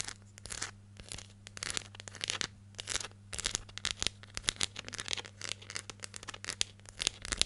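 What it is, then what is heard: Plastic jar scratched and tapped with nails. Long nails scratch and tap the lid and label of a hollow yellow plastic hair gel jar with a lid, held close. Irregular bursts of bright, crackly scratching mix with quick, sharp clicks over a faint, steady low hum.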